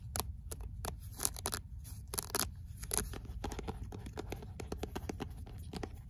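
Fingernails scratch along the page edges of a paperback book with a paper cover, then tap and scratch its card cover. The result is a rapid series of short, dry clicks and scratchy rustles with bright, crisp highs over a steady low rumble.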